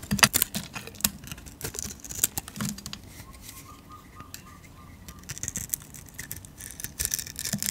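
A metal blade shaves flakes off a solid tan painted soap bar held in the hand, producing bright, crisp scraping strokes. Loud bursts at the start and end frame a quieter middle stretch of lighter scraping.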